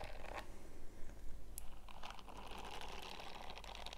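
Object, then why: Silicone scrubbing glove with bristles. Bare fingertips with short nails scratch and rub across the bristle-covered palm of a purple silicone scrubbing glove. The result is a soft, continuous crinkly scratching with brief bright ticks, sitting over a steady low hum.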